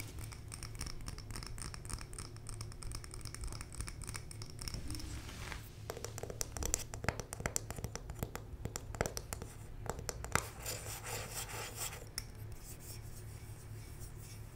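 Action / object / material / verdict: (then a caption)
scrape / glass candle jar with paper label and bamboo lid / glass / none. Long nails scratch and rub the paper label and wooden/bamboo lid of a medium glass candle jar full of wax, held up in the air. Soft, dry scratching rasps start thin and steady, then turn into denser, brighter bursts of rubbing over a low, constant hum.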